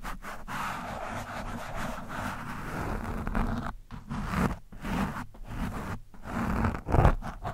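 A metal screwdriver shaft rubs and scrapes across an orange foam windscreen on a microphone. It makes muffled, low, rumbling scratching with brief pauses, swelling to its loudest scrape near the end.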